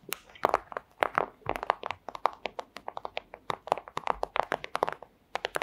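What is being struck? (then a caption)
Thin clear plastic pouch. Long acrylic nails tap rapidly on a flat, thin, clear plastic pouch. The result is a quick, irregular run of crisp, dry clicks with a hollow midrange tone around 900 Hz and bright tips. Each tap stops almost at once with no ring.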